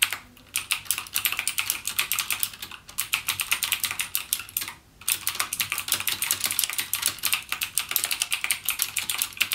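Fingertips type continuously on a backlit mechanical gaming keyboard with plastic keycaps and clicky Cherry MX Blue switches. A dense, fast stream of sharp, bright clicks with almost no low end and very short decay is heard, pausing briefly near the start and again just before the five-second mark.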